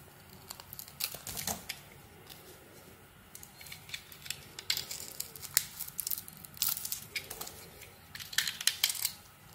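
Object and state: Soap bar being cut and scraped.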